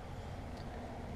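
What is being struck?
Nothing is struck.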